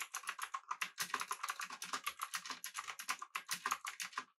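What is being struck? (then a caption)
Mechanical keyboard, aluminium body with plastic keycaps. Both hands type with their fingertips on a full-size, backlit, typewriter-style mechanical keyboard with blue switches, an aluminum body and round plastic keycaps. A fast, steady run of sharp clicky keystrokes is heard, each bright and short with almost no low end and little ring.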